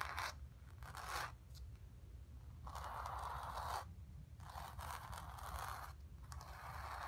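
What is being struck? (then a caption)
Painted stretched canvas. Long nails scratch across the painted fabric of a stretched canvas in repeated strokes. Each stroke gives a dry, raspy scraping burst centered in the midrange, with brighter edges, over a steady low hum. Some strokes are short, and others drag on for about a second.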